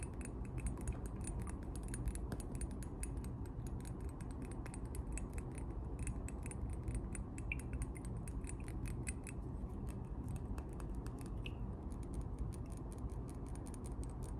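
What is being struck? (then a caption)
Glass perfume bottle with metal cap. A hand-sized square clear glass perfume bottle with a silver metal cap and a round emblem, partly filled with liquid, is tapped continuously with short fingernails and fingertips. Quick, light glassy clicks and ticks run throughout over a steady low hum.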